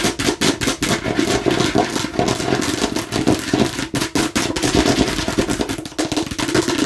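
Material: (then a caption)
Plastic. Long nails tap rapidly on the red and green sides of a hollow, hard plastic watermelon-slice container. The result is a dense, fast run of clicky, hollow knocks with a mid-range body and bright edges, each tap dying away quickly.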